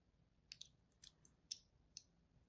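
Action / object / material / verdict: scrape / solid bar of soap / soap / none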